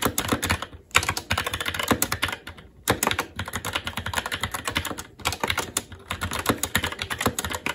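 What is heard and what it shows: Fingertips of both hands type fast and continuously on a SteelSeries Apex 7 TKL mechanical keyboard with plastic keycaps on a metal top plate and Red linear switches. The result is a dense stream of short, sharp, bright clacks with little low thump, broken by brief pauses near 1, 3 and 5 seconds.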